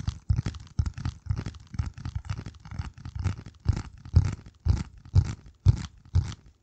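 A flat, hand-sized piece of dark corrugated cardboard is held over the microphone and scratched and tapped with the fingertips. It makes dry, crunchy scratching bursts with dull, low thumps, roughly one per second, becoming more distinct and evenly spaced toward the end. Each burst stops quickly with almost no ring.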